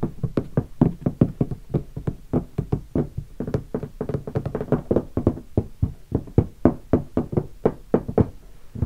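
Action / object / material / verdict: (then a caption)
knock / hardshell guitar case with leatherette covering / leatherette / none. Fingertips of both hands drum and knock on the lid of a closed, hollow black leatherette hardshell guitar case covered in stickers and lying on carpet. A steady run of quick, dull, hollow knocks with a low, boomy body dies away almost instantly after each tap.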